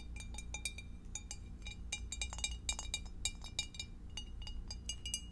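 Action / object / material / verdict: tap / glass divided food container / glass / none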